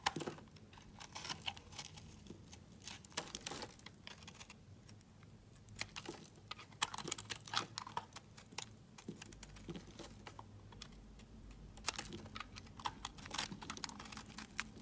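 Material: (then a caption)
Soap. A blade scrapes crumbly layers from the surface of a solid green marbled soap bar held in the hand. The result is a steady run of soft, dry, crisp scratching and crinkling clicks, bright and close, with short bursts of quick scrapes over a faint low hum.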